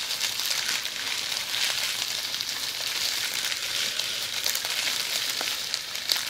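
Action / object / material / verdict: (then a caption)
scrape / plastic bubble wrap / plastic / none. Long pointed red nails scratch and squeeze a roll of red plastic bubble wrap held in both hands. A steady, dense, bright crackling rustle with no low end runs throughout, broken by a few sharper ticks and pops.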